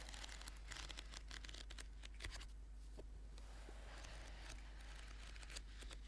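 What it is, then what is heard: Paperback book. Fingertips and nails tap and scratch the cover of a thick orange paperback book lying flat. The sound is a quiet, continuous crackle of dry scratching with bright, papery ticks and occasional sharper taps over a steady low hum.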